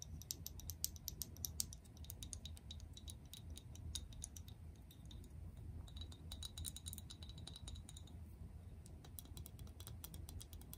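Long press-on acrylic nails tap and click on a medium clear plastic Glow Recipe toner bottle with a pink cap, partly filled with liquid. Quick, dry, bright clicks come in rapid irregular bursts over a steady low rumble, a little louder in the first two seconds.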